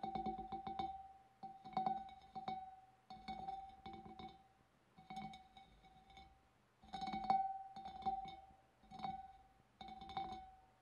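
Long dark nails tap the wavy rim of a large, empty, hollow clear glass fish bowl in quick clustered bursts separated by short pauses. Each tap sounds a bright glassy ring centred near 780 Hz that decays quickly between bursts.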